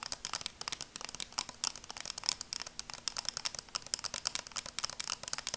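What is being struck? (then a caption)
Plastic sunglasses frame. Long nails tap on the frame of red and black plastic sunglasses, making a rapid, quiet run of about thirty light clicks. Each tap is bright and dry, with almost no low end, and stops instantly with no ring.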